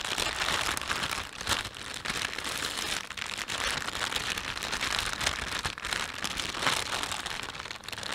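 A thin, empty panda-print plastic shopping bag is held and stretched in both hands while the thumbs rub and crinkle it. The result is a dense, continuous bright crackling rustle with brief dips in loudness and very little low end.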